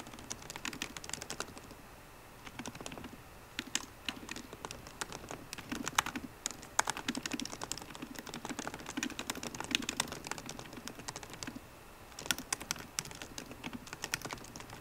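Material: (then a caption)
Plastic. Both hands type fast on a MacBook Pro keyboard with plastic keycaps on a hollow aluminium laptop body, striking the keys with fingertips and long painted nails. The result is a dense stream of short, bright clicks and taps, with a soft low thud under some keystrokes and brief lulls around two and twelve seconds.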